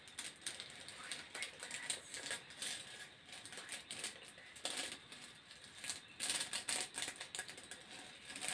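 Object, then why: Corrugated plastic hose. Fingertips scratch and tap the ribs of a hollow grey corrugated plastic hose close to the microphone. A rapid, uneven run of dry clicks and scraping rasps follows, bright and crisp, with almost no low end. Each tap dies away quickly.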